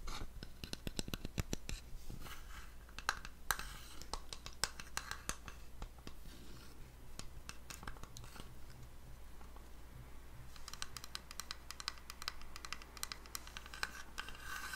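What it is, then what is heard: Wooden box with inlay. A small, flat, dark wooden box decorated with brass stars and moons, hollow and held upright, is rapidly tapped and scratched with fingertips and nails. Quick, dry clicks and scratchy strokes come in dense bursts, each dying away almost instantly, over a steady low hum.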